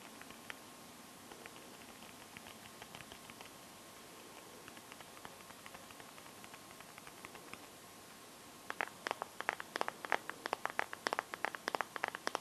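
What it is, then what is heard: Phone in plastic case, tapped with nails. Long gold-painted nails tap and scratch the back of a Samsung phone held in both hands, in a teal clear plastic case filled with liquid glitter. Soft, sparse clicking ticks fill the first eight seconds, then the tapping turns louder and quicker, with sharp bright clicks over a faint steady high tone.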